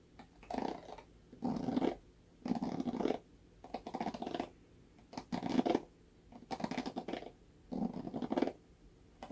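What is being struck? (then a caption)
Plastic paddle hairbrush with bristle cushion. Fingernails scratch across the black bristle cushion of a red plastic paddle hairbrush held by its handle. About eight soft, raspy scratching bursts are separated by brief quiet pauses. The sound is muffled and dry, centered in the low-mid range with little high-end sizzle.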